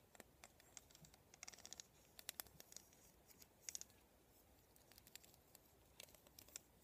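Fingertips and nails scratch and flick across the rows of plastic pin bristles on a black plastic vent hairbrush. The result is quiet, bright, crisp ticking and scratchy clicks in quick irregular clusters, each snapping off almost instantly over a faint hiss.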